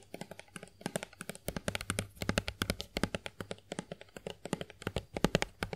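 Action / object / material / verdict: tap / plastic lotion bottle / plastic / none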